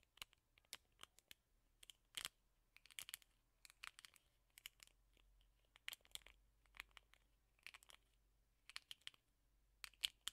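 Fingertips and nails scratch and rub the black rubber bristle pad of a teal plastic hairbrush. The result is many quiet, short, crisp, bright scratching and crinkling bursts with almost no low end. The bursts come in irregular clusters across the clip.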